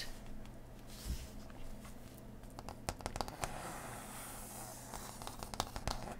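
A thick, solid printed cardboard faction board (Woodland Alliance), held and laid flat, is scratched and tapped with long nails. Soft papery scratching runs under a low hum, punctuated by sharp, dry taps that die away instantly, clustered around the middle and end.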